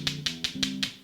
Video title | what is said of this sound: Fabulous Feast S3 E3: Vongole Al Romeo e Julieta w/ Clams | Sounds like two rocks hitting each other. That's how we know they're alive.